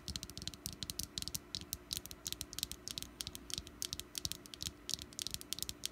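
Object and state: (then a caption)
Wax candle, solid. Fingernails tap quickly on the top and sides of a small, solid orange wax pumpkin candle, making dozens of short, dry clicks in a rapid, uneven patter. Each tap is bright and crisp and dies away almost instantly, over a faint steady low hum.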